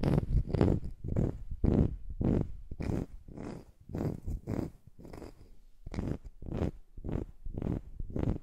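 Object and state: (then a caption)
Wooden slice coaster. Long nails scratch and tap a small, flat, round coaster cut from a solid slice of wood, held close over the microphone. A steady run of soft, low, muffled scraping strokes repeats at a relaxed pace of about two per second, with short taps mixed in and brief quiet gaps between them.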